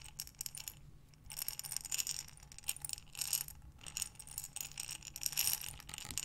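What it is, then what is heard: Glass jar of buttons. A glass mason jar with a metal lid, filled with buttons, is rotated and tilted in both hands with long nails, making the buttons clink and rattle against the glass. The sound is a quiet, bright, dense patter of short clicks that swells in bursts and pauses briefly. A faint steady low hum runs underneath.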